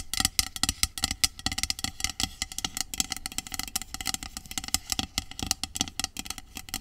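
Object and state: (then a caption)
Aluminium aerosol can. Long acrylic nails tap and scratch the metal body of a hollow, medium aluminum dry shampoo aerosol can lying on its side. The result is a rapid, dense run of short, bright clicks with tinny metallic ring, mixed with scratchy rasping between taps.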